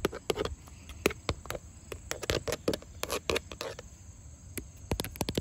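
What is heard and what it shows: Long fingernails tap and scratch across grey textured vinyl siding made of hollow lap panels. A rapid, irregular run of short, dry clicks sounds with a hollow plastic body and bright edges, broken by soft scraping between taps. Each tap dies away almost instantly.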